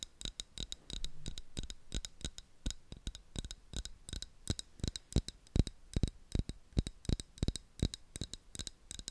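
Fingertips and nails tap and scratch the sides of a medium, hollow, opaque black plastic bottle with a white screw cap, held in both hands beside the microphone. A rapid, uneven stream of short, dry taps is heard, each with a soft low thump and a bright clicky edge that dies away almost at once, mixed with brief scratchy rubs.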